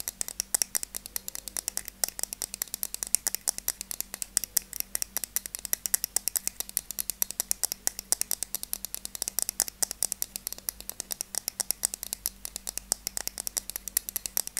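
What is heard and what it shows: Long teal-painted nails tap and scratch the surface of a small, hollow, rectangular pink plastic case held in one hand. A rapid, continuous stream of crisp, bright clicks with very short, dry decays is heard over a faint low hum, with no speech.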